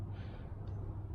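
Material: Nothing is struck.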